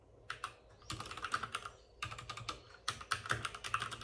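Both hands with short-nailed fingertips type rapidly on a white full-size plastic mechanical keyboard with plastic keycaps and RGB backlighting, resting on a desk with a padded wrist rest. Dense bursts of crisp, bright clicking taps, centered in the upper mids, come in quick runs separated by brief pauses. Each keystroke stops almost instantly with no ring.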